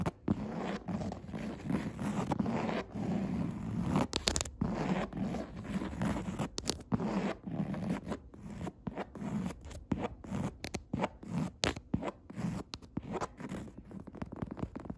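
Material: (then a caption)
Woven fabric. Long red nail tips scratch and tap on the grey, coarse woven upholstery fabric of a padded chair seat. A steady, raspy, zipper-like scratching fills the clip, broken up by short, sharp taps and brief pauses.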